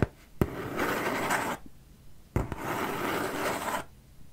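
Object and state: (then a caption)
Cardboard box, scratched. Fingertips and nails scratch and rub across the surface of a large, empty-looking corrugated cardboard shipping box held in front of the face. Two sustained, broadband scraping passages each open with a sharp tap and fade into quiet, giving a dry, papery rasp.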